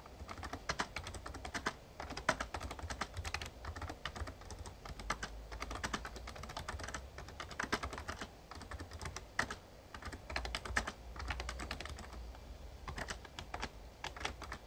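Fingertips type steadily on a full-size backlit plastic Razer Ornata Chroma mecha-membrane gaming keyboard, producing a continuous stream of soft, quick plastic key clicks and taps. The keystrokes are short and dry, with mid-range clatter over a low hum and occasional louder presses.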